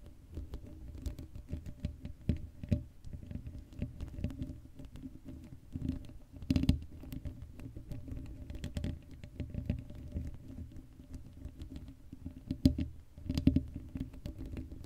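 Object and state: Metal mesh microphone grille being scratched.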